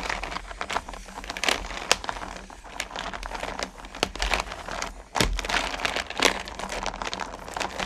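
Fingertips and long nails rake through and stir small solid candy corn pumpkins in a purple plastic bucket. The result is a dense, continuous clatter of bright clicks and crinkly rattling, with a few sharper, louder clacks as the candies shift against each other and the plastic. A faint low hum sits underneath throughout.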